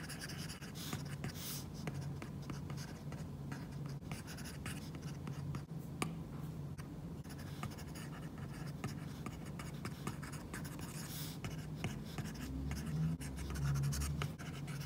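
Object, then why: Glass tablet screen with matte plastic screen protector, stylus tip. A stylus tip scratches across an iPad's glass screen fitted with a matte plastic screen protector, tapping and dragging in dense, short stippling strokes. The quick, irregular scratchy ticks run continuously over a steady low hum, growing slightly louder near the end.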